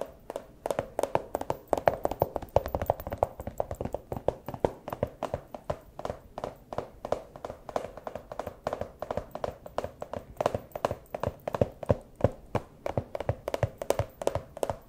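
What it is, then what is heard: Empty plastic pouch. A small, empty clear plastic pouch is held up and tapped with the claws of a fursuit paw. Quick, uneven taps run nonstop for about 15 seconds: short, dry clicks with a hollow plasticky tone centered around 670 Hz and almost no ring after each hit.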